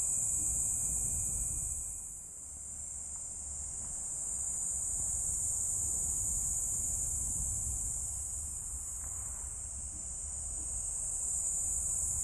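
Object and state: Nothing is struck.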